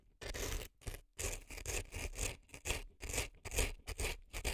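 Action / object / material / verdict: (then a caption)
scrape / dry floral foam packed in a silicone ear, scraped with an earpick / floral foam / none. A reddish-brown earpick scrapes inside the canal of a left silicone elf ear packed with dry floral foam. It makes a series of dry, crunchy, rasping strokes, each a broadband scratch with bright crackle on top and a low rumble underneath, repeating at an uneven pace with brief quiet gaps between them.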